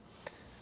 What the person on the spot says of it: tap on it and kind of hear that hollow sound inside. That helps me know that it's done.